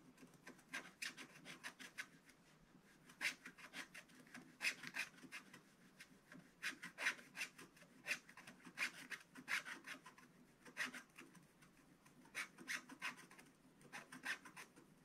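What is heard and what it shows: A wooden stylus scratches the black coating off a square on a scratch-art paper page of an advent calendar book lying flat. Quiet, dry, bright rasping strokes come in quick bursts with brief pauses between them.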